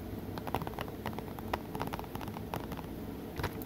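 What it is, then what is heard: Plastic Blu-ray case. Fingertips tap and scratch on the front cover of a blue Three Musketeers Blu-ray case of hollow plastic held in one hand. Quick, light clicky taps with almost no ring land over a steady scratchy rustle, giving a soft, hollow plastic sound.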